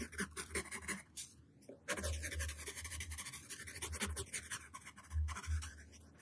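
A yellow wooden pencil tip scribbles zigzag strokes across a flat white paper sheet resting on a table. Bright, dry scratching comes in quick, uneven bursts over a low, soft thudding, with a brief near-silent pause before the strokes resume.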